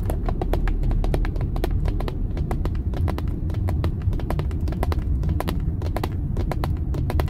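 Long nails tap rapidly on the pad near the badge of a dark, hollow plastic steering wheel airbag cover, making quick, sharp, bright clicks that die away almost at once. Underneath runs a steady, faint low rumble of the car's background.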